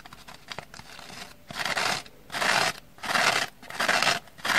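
Long manicured nails repeatedly scratch the black abrasive scouring side of a dry kitchen sponge, held in the hand over its orange foam base, while a second identical sponge lies untouched on a wooden table. Faint light ticks and scratches give way to five louder bursts of dry, bright, rasping scratching, separated by short quiet gaps.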